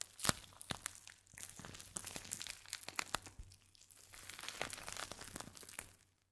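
A small, hand-sized plastic pouch, full of purple crinkly contents and fitted with a clip-on tag, is crinkled, squeezed and scratched with the fingertips. Bright, dry crackles and sharp clicks come in dense bursts, with two busier rustling stretches, over a faint steady low hum. The sound fades to silence at the end.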